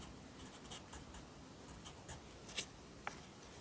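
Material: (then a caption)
Paper. A yellow pencil writes at the bottom of the right page of an open lined paper notebook held flat by one hand. Soft, bright scratching strokes come at an uneven pace over a low, steady hiss, with a couple of sharper ticks near the end.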